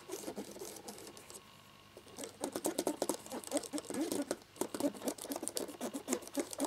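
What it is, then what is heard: Plastic laptop keyboard being rubbed. A cotton swab rubs briskly around the letter keycaps of a black plastic laptop keyboard. A soft, continuous scratchy rubbing fades to a brief lull, then gives way to quick, dry, bright scraping strokes and light plastic ticks in rapid bursts.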